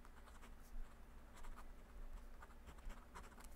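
A metal fountain pen nib scratches across a yellow lined legal pad already covered in handwriting as a hand writes, with a clip-on microphone resting on the page. Soft, dry scratching strokes rise and fall in short bursts over a quiet, steady low rumble.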